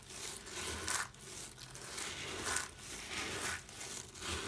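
Hands rake, rub and sift through a large loose pile of small, dry brown soap shavings on a table, letting the flakes fall. The result is a bright, dry crunching and crinkling rustle that rises and falls in repeated swells.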